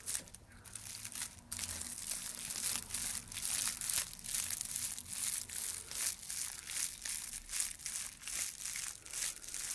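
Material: Dried straw.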